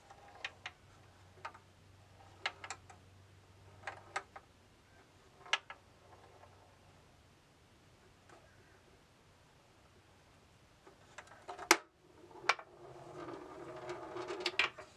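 A steel ball rolls through a bamboo labyrinth maze as a hand tilts it by the side knob, striking the wooden partitions. Sharp, bright clicks and taps come at irregular intervals over a faint low hum. Near the end they give way to a louder rolling rattle with quick knocks.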